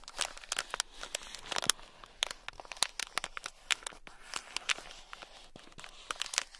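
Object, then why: Sealed plastic bag of small beads. A thin black stick scratches a small sealed clear plastic bag packed full of tiny gold beads. About 25 quick, dry crinkling scratches sound out, bright and crisp with little low end. Each stops at once over a quiet background.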